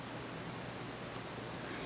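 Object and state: Nothing is struck.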